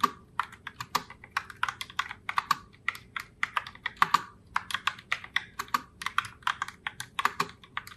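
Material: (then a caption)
Plastic. Long fingernails type steadily on a pink Logitech Pop Keys mechanical keyboard in the Heartbreaker Rose color, with round plastic keycaps. About 43 crisp, clacky keystrokes come in an uneven, continuous stream. Each is a short, dry tap centered in the upper mids with bright edges and almost no low end.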